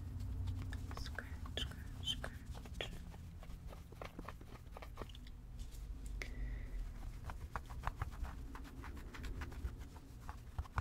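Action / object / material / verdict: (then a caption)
scrape / stuffed fabric toy giraffe / fabric / none. Long red-painted nails scratch and rub a small spotted fabric stuffed giraffe toy. Quick, crisp scratching ticks and soft rubbing fill the clip over a steady low rumble, with the fabric's brief bright crackles fading almost instantly.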